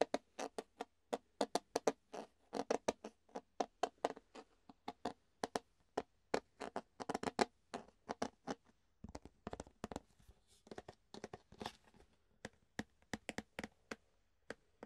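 Fingertips tap and scratch an empty, hollow clear plastic food container with ridged sides, making a quick, uneven run of short, dry, hollow clicks. The taps are quiet and mid-pitched with almost no low end, and each one stops almost at once. Soft scratchy rustles fill the gaps between them, most of all near the middle of the clip.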